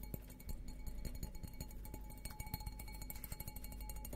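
Fingertips and nails tap rapidly on the bowl of an empty, hollow, stemmed glass beer goblet with a green logo, held upside down. The result is a quiet, dense flurry of short, dull taps, mostly low in tone. Faint steady glassy ringing tones sit above them.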